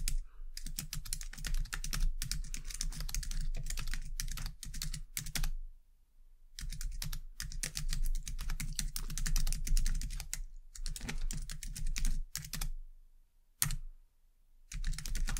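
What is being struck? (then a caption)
Plastic computer keyboard. Long dark nails and fingertips type fast on a white low-profile plastic computer keyboard, producing dense bursts of bright, crisp clicking. The typing stops for short pauses of about a second, and a steady low hum runs underneath throughout.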